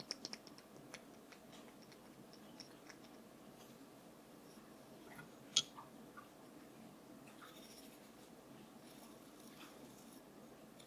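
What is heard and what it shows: A wooden brush is tapped in a quiet, close setting, giving six short, bright clicks, several in quick succession at the start and the loudest near the middle. Each tap dies away almost instantly over a faint, steady background hiss.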